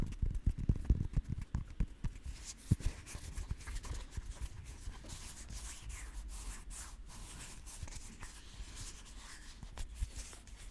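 Long nails tap and scratch a whole green custard apple (sugar apple), a fist-sized, solid fruit with knobbly, segmented skin, held close to the microphone. It opens with a quick run of soft, dull, low thuds, then settles into a steady, dry scratching rustle with a faint bright edge.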